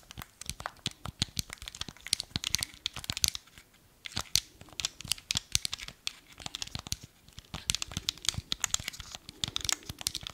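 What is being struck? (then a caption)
Hard plastic game controller remote. Fingertips and nails tap and scratch the face and buttons of a small, hollow, black hard-plastic Wii remote. The result is a dense run of quick, dry, bright clicks and crinkly scratches with almost no ring, broken by brief lulls.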